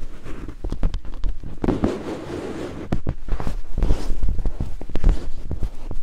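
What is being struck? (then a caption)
Silicone microphone ear scraped by wooden picks. Two thin wooden picks held in fingertips scrape and climb over white silicone binaural microphone ears. The result is a close, deep, muffled stream of rapid clicks and scratchy taps over a soft rubbing rustle, with a brief smoother scraping stretch midway.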